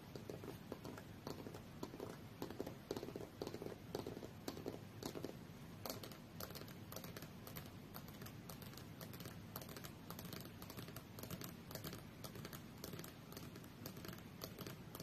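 Long fingernails tap and lightly scratch the aluminium back casing of a rose-gold tablet lying face-down on a fur rug. The result is a quiet, steady run of soft, dull clicks with short decay and a faint scratchy texture throughout.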